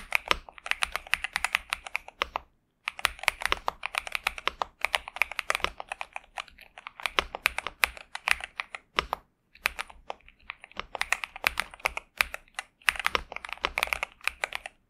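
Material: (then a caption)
Plastic. Both hands type with their fingertips on a pink and purple 65% Xinmeng M71 mechanical keyboard with TTC Superman switches and plastic keycaps, resting on a desk mat. A steady stream of crisp, bright key clacks with very short decay comes in bursts, separated by brief pauses. The typing sound is pleasant.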